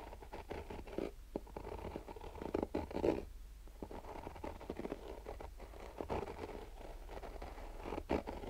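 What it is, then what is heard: Fabric-covered hard sunglasses case. Fingernails scratch slowly across the fabric of a black nylon-mesh, rigid hard-shell sunglasses case. The result is a quiet, soft scratching and rasping texture, centered in the low mids with little high-end content. Occasional louder strokes rise over a steady low hum.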